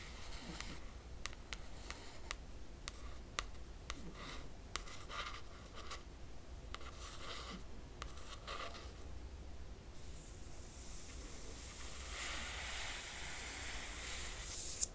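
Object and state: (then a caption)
Hardcover book cover, nail tapping and tracing. A long fingernail tip taps and traces over the printed lettering on the laminated cardboard cover of a closed hardcover book. Sharp, bright clicks come at irregular intervals over a steady low hum, with short scratchy strokes in between. Near the end they give way to a continuous bright scraping hiss.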